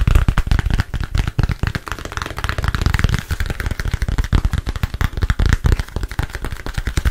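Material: Glass, plastic.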